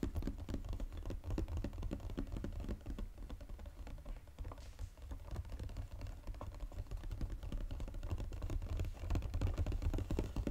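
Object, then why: Coated paperboard chocolate box. Fingernails tap fast on the flat, hollow underside of a Godiva chocolate box made of glossy gold-coated paperboard. The result is a steady stream of quick, dull, low-pitched clicks in an uneven rhythm, each dying away almost at once.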